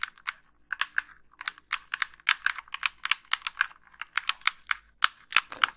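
Long nails tap and click the buttons and shell of a white, hollow, wired plastic game controller held close to the microphone. About 27 sharp, dry, bright clicks come in an uneven, rapid rhythm with no low end. Each click stops instantly with no ring.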